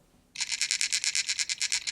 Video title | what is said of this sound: HK P30SK Range Review | You can actually hear it rattle when I shake the gun.